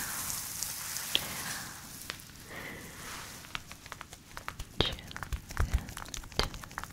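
A flat, book-sized mint green fluffy faux fur pouch with a "chill pill" patch is scratched and tapped with long nails. Soft, hissy scratching fills the first few seconds, then gives way to scattered sharp, bright taps and clicks with irregular timing.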